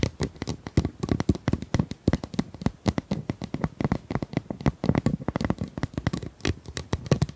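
Long nails tap and scratch along the ridges of a hollow, pink corrugated plastic pop tube about 25 cm long. Rapid, dry clicks and short scratchy rasps come in quick, uneven bursts with a hollow, low-heavy body and almost no ring after each hit.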